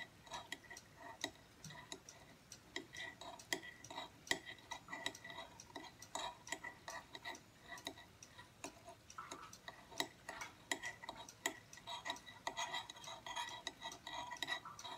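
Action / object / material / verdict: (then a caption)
tap / aluminum tablet stand / aluminum / none. Fingertips and short nails tap the thin back plate of a small silver aluminum tablet stand standing upright on a wooden table. A quiet, irregular stream of light, clicky taps carries a faint metallic ring around 2 kHz that dies away almost instantly, with bright upper overtones and almost no low end.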